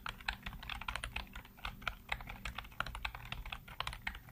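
Fingertips type rapidly on the keys of a black plastic backlit computer keyboard. A quick, uneven run of short, dry clacks carries a bright plastic click and a soft low thump, and each keystroke stops at once with no ring.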